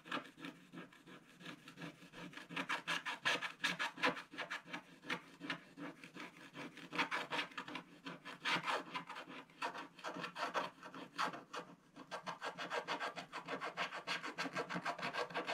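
A wooden stylus rubs and scratches the lower area of a black-coated scratch-art paper page in a spiral book. It makes a steady run of quick, dry rasping strokes with a bright, papery hiss and no low rumble. The strokes come in dense bursts that swell and ease throughout.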